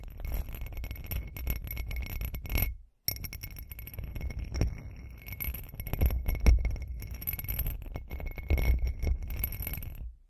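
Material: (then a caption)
Glass. Long acrylic nails tap rapidly on the sides of a hand-sized, hollow, textured glitter glass cup. The result is a dense stream of light clinks and clicks with a faint bright ring, broken by a brief silence just before the three-second mark.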